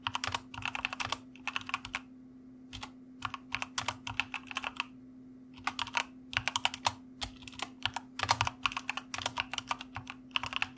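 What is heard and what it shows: Fingertips of both hands type on a white plastic mechanical computer keyboard in quick bursts of bright, sharp clicks with very short decay. Brief pauses break up the bursts, and a faint steady low hum runs underneath throughout.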